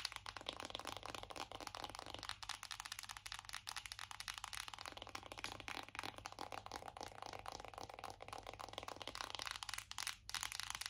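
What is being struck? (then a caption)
Cardboard makeup palette. Long acrylic nails tap fast on a hollow black matte cardboard eyeshadow palette held up in both hands. The result is a dense, steady stream of quiet, crisp, bright clicks that die away almost instantly, with only a faint low hum underneath.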